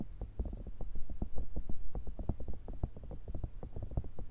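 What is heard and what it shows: A grey, hollow, soft silicone cylindrical cat-shaped pencil case with a zipper, held upright, is tapped with long red nails. Rapid, irregular taps land as soft, dull, low thumps that die away almost instantly, with no bright edge.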